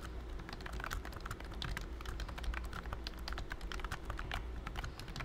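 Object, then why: Plastic computer keyboard. Fingertips of both hands type steadily on a pink plastic BT21 COOKY keyboard with round white keycaps and a hollow body. Rapid, bright, clicky key taps overlap continuously, over a steady low hum.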